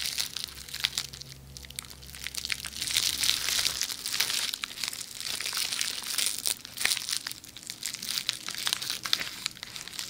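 Long red nails scratch and tap a hollow roll of red plastic bubble wrap held in the hand. The result is a dense, bright crinkling and crackling with quick, sharp taps throughout. A faint low hum sits underneath for the first four seconds.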